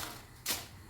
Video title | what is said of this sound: Crispy and crunchy pakoda recipe-Lacha Pakoda recipe-Potato snacks recipe-Kitchen with zam | in the strainer you can hear the sound of how crispy it is